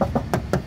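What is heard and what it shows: A steel body panel on a 1995 Kijang Super G 1.5 short (KF40) is knocked five times with short, dull, low thuds that die away almost at once. The panel sounds solid and is judged to be in quite good condition.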